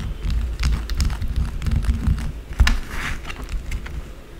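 Long blue acrylic nails scratch fast and aggressively at a small, solid white bar of soap resting on a dark table. The result is a dense run of quick, crackly scratches over a low, thumping rumble, with bright gritty edges and no lingering ring.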